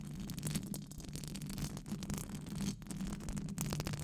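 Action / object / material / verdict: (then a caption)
scrape / metal wire-mesh microphone grille / metal mesh / none. Long acrylic nails scratch a hollow silver metal wire-mesh microphone grille with fast brushing strokes. The result is a steady, dense scratching rasp with a low hum around 150 Hz beneath bright, crackly brushing streaks that surge and dip with each stroke.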